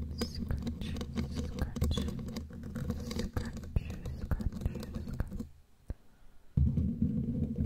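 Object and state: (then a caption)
Metal microphone grille. Long glittery claw nails tap and scratch the bare black metal mesh grille of a large studio microphone with a hollow head. The result is a dense, bassy, crackling rasp with quick sharp ticks. It drops to near silence with a single tick for about a second, then returns louder.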